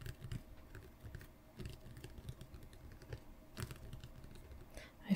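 A shrink-wrapped Pokémon Elite Trainer Box, a hollow medium cardboard box lying flat on a playmat, is tapped and scratched across its top by two hands with long painted nails. Quick, dull taps and soft scratchy rustles patter unevenly throughout, mostly low and muffled with brief brighter crinkles of the plastic wrap.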